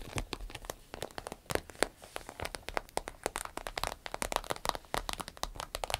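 Long nails tap and scratch a medium green-yellow striped glossy vinyl zip pouch, hollow and empty. Rapid, dense sharp clicks and crinkly scratches overlap with bright ticking edges and no ringing, like a quick patter of rain.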